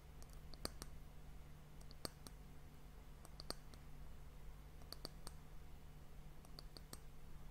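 Long nails tap the round, solid, polished brown wooden end cap of a tilted glass sand timer. The taps are short, sharp, bright clicks in loose clusters, dying away almost instantly over a steady low hum.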